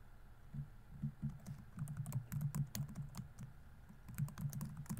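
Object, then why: Plastic laptop keyboard keys. Fingertips type on the plastic keys of a laptop keyboard, producing soft, dull taps in quick irregular bursts. Each tap is low and thumpy with a short bright click on top, and dies away almost instantly.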